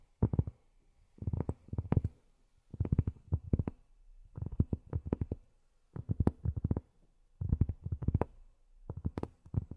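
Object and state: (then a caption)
Cork tapped with fingernails. Long fingernails tap on cork in seven quick bursts of rapid taps separated by short pauses. Each tap is short, dull and soft, with a low thud and a brief faint click on top.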